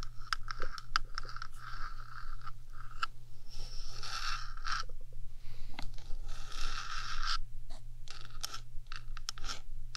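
Long acrylic nails scratch and tap across the top of a rectangular, hollow metal 3Dio microphone housing. Bright, gritty scrapes come in bursts, broken up by sharp clicky taps, over a steady low electrical hum.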